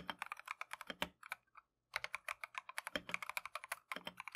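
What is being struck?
Plastic mechanical keyboard.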